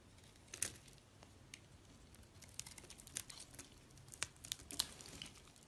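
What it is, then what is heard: Soap bar being scraped. A solid white rectangular soap bar, held in a hand with long red nails, is scraped with a box-cutter blade, sending up white shavings. The result is an irregular series of short, crisp, high scraping and crinkling sounds over a quiet hiss, with very little low end.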